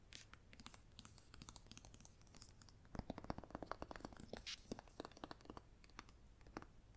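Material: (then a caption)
Paper. Long nails scratch and tap the front cover of a red paperback novel, then its spine. The result is quiet, dry scratching and crisp, short taps with no ring, growing denser and louder from about three seconds in, over a faint low hum.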